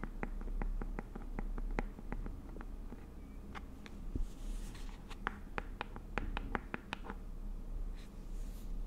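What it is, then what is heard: Plastic jar tapped with nails. A round green plastic aloe vera gel jar is held in both hands while long nails tap and scratch its lid, side and bottom. Many short, crisp clicks ring out unevenly over a steady low rumble, with faint soft scratching between the taps.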